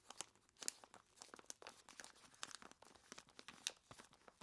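Long plastic claws grip, squeeze and scratch a large clear plastic bag full of ice cubes. The result is quiet, bright crinkling and crunching, with sharp clicks and rustles scattered throughout and almost no low end.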